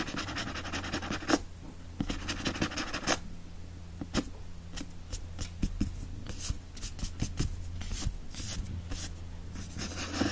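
Fingertips and nails energetically scratch and rub across the back cover of a hardcover book with a printed paper-covered board cover. Bright, dry scraping strokes and short sharp scratches come in quick succession over a steady low hum.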